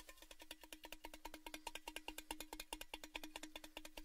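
Fingertips tap quickly on the outside of a tall, orange, cylindrical Baileys gift tin, hollow and empty, held open end down near the microphones. The result is a rapid, slightly uneven run of light, bright metallic taps. Each tap carries a short hollow ring around 312 Hz that dies away almost at once.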